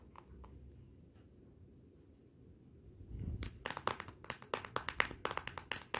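A Motorola smartphone lies face down while long nails tap on its glossy glass back. After about three seconds of quiet low hum, a quick, irregular run of sharp, bright clicks begins. Each tap stops almost instantly with no ring.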